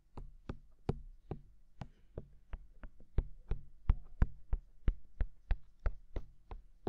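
Fingertips tap rapidly on the rims and canals of the white silicone dummy ears on a black binaural microphone. About twenty short, dry taps land at a quick, slightly uneven pace of roughly three per second. Each tap is a soft, deep thump with a brief bright tick on top and no ring.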